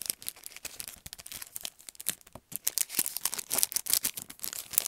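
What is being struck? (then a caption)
Paintbrush set in plastic sleeve on cardboard backing. A handheld paintbrush set in a long, narrow package, with the brushes inside a clear plastic sleeve on a cardboard backing, is tapped and scratched quickly by fingertips and nails on the plastic. Dense, bright, crinkly clicks and scrapes come in rapid bursts with almost no low end. Each hit is dry and dies out instantly.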